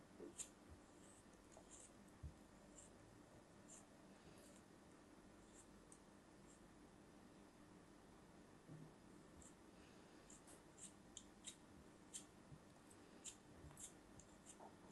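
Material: Sand.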